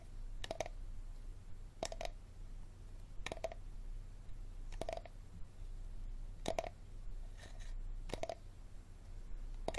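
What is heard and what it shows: Fingertips and nails tap and scratch the ridged base of an empty, hollow, clear hard plastic water bottle held bottom-up. Paired, brief hollow clicks with a mid-range ring recur about every second and a half over a low steady hum.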